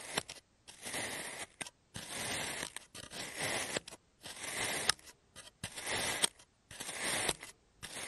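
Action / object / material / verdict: scrape / kinetic sand block cut with a plastic cutter / kinetic sand / none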